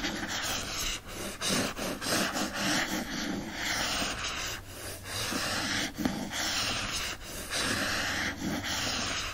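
Nearly continuous dry scraping, strokes rising and falling in waves, with a hissy rasp high in the treble and almost no low end. Nails drag over a firm printed board cover, so the sound stays papery and short with nothing ringing on.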